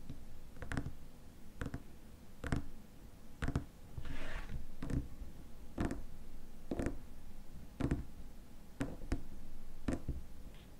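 Fingernails tap the rim of the white plastic lid and the glass sides of a small glass cream jar filled with cream. Short, dry clicks with dull low thuds come at a loose, uneven pace and die away almost instantly. A brief soft scratchy rustle sits between them near the middle.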